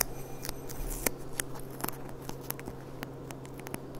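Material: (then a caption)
Glass. Long dark-painted nails tap and click on the bowl of a clear, thin, gold-rimmed glass goblet, a hollow, empty stemmed cup held upside down. About twelve sharp, bright clicks land at an uneven pace and die away almost instantly, with no lingering ring. A steady low hum sits underneath.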